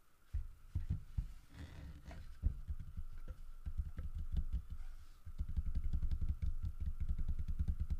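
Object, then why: Carved wooden bear figurine. Flat palms and fingertips rub and pat the grooved, carved side of a large, solid carved wooden bear figurine. The result is a low, muffled run of soft thuds and scuffs with almost no ring, with a faint steady hum underneath. After about five seconds the strokes turn quicker and denser.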